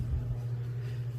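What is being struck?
Nothing is struck.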